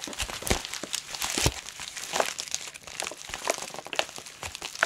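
Long pointed nails tap and scratch clear plastic bubble wrap wrapped around a soft Squishmallow plush toy lying flat. It makes a steady run of bright, dry crinkling and quick clicky taps, with louder sharp scratches standing out now and then and almost no low end.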